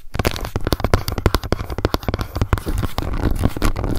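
Long nails rapidly tap and scratch the lid and edge of a small, round, hollow pink plastic cushion foundation compact, first held upright and then laid flat. The result is a dense stream of quick, dry clicks with a hollow, low thud under each tap, mixed with brief scratchy rasps.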